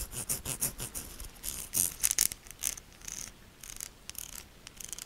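Long nails scratch a solid pink soap bar with ribbed sides, leaving soap powder visible. A rapid series of quiet, bright, dry scraping strokes is heard, each one short and crisp with almost no low end and no ring afterward.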